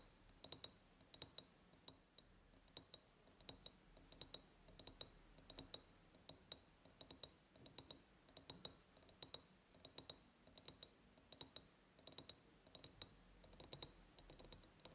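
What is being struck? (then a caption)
Ribbed glass jar. Long purple-painted nails tap rapidly on the upper sides of a large, hollow, ribbed clear glass jar decorated with a ribbon and a white ceramic heart. The taps come in quick clustered bursts of sharp, bright clicks with almost no ring and very little low end, all at a quiet level.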